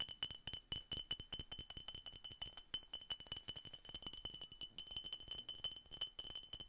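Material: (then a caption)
Glass. A glass Coca-Cola bottle is tapped rapidly and repeatedly, giving bright, glassy clinks with a steady ringing tone near 3 kHz and a higher shimmer above it. Each tap is short and dies away almost at once, and the taps run in quick irregular bursts for the whole clip.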